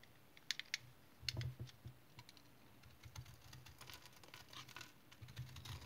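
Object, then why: Dried household soap remnant. A solid, hand-sized, stone-like dried household soap remnant with a speckled crust is held in the hand and shaved with a utility knife blade into crumbly flakes. The clip opens with a few sharp, bright clicks, then moves into bursts of crisp scraping and crackling with a low rumble beneath. Brief, dry cuts come in uneven clusters.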